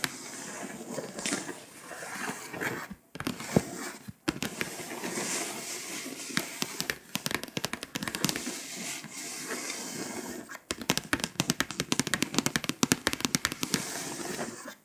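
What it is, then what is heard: Scratch-off foil map scratched and tapped with nails. Long pointed acrylic nails tap and scratch the foil coating of a flat, foil-coated paper scratch-off map poster around Belarus and Poland. A bright, gritty rasping runs continuously with brief silent gaps around 3, 4 and 10.5 seconds, and the final stretch fills with rapid, sharp, dry clicks.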